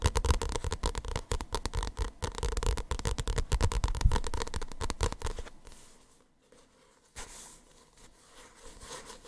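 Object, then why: Paperback book with glossy paper cover. Fingertips and nails rapidly tap and rub the glossy paper cover of a small paperback manga held close to the mic, making a dense patter of soft, bassy thumps mixed with bright scratching for about five seconds. The sound then drops to a quiet, faint rubbing of the cover, with a brief louder swish near the end.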